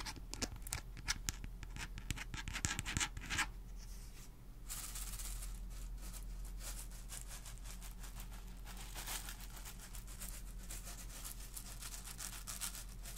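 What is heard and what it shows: Long nails scratch and tap the casing of a small, hollow, boxy plastic star projector with a round lens, held close to the microphone. Sharp, crackly scratches come first, then a brief lull before a continuous bright, rasping scrape. A steady low hum runs underneath throughout.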